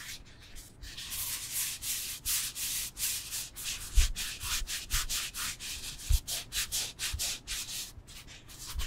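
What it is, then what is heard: Foam yoga block. Nails and fingertips scratch and rub across the textured surface of a solid rectangular foam yoga block, producing about 19 quick, bright, raspy strokes in an uneven rhythm. A couple of soft, low thumps stand out near the middle of the clip.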